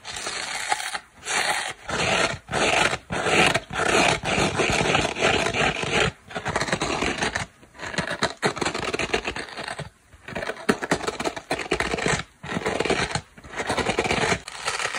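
Long black nails scratch a dry oval polyurethane foam kitchen sponge, first on its turquoise foam side and then on its green abrasive fibre scouring pad. The result is a string of dry, raspy, broadband scratching bursts with a bright hiss, broken by short, irregular pauses.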